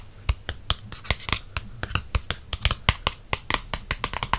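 Fingertips and nails tap quickly on the glossy cardstock back cover of a softcover paperback book held in hand. About 23 short, crisp taps come in a rapid, uneven rhythm, each a dry click with a bright, papery top and a soft low thump, dying away almost at once.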